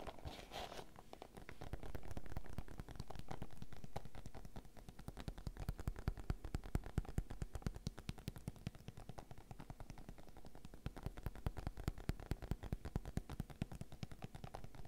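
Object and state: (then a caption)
Plastic zip pouch of sachets. Fingertips with long red nails tap quickly on the surface of a clear, printed PVC zip pouch lying flat and full of sachets. The result is a rapid, irregular stream of short, dull clicks with a heavy low thump, interrupted early by two smoother swells of sound.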